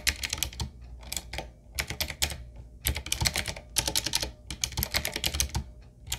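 Fingertips of both hands type continuously on a retro typewriter-style mechanical keyboard with round black plastic keycaps on a wood-trimmed frame. Rapid bursts of bright, crisp clicks with short, dry decay come in clusters separated by brief pauses, over a faint low thud beneath each stroke.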